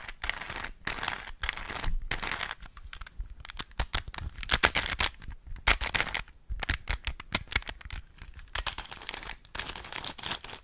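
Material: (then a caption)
Plastic. Fingers twist a small hollow plastic 3x3 Rubik's cube, clicking its layers around. The result is a dense run of rapid, bright plastic clicks and crinkly rattles in bursts, broken by brief pauses, with very short, dry decay.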